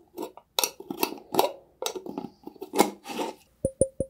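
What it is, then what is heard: Glass mason jar. A clear glass mason jar with a metal lid, hollow and holding some liquid, is held up and tapped and scratched with fingertips and nails. Bursts of dry, bright scratching and rubbing alternate with soft taps. The clip ends with three short, ringing glass taps that carry a clear tone.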